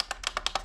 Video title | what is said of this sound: Lecteur DVD portable - Yoton YD105 | vous entendez au toucher que ça tapote un peu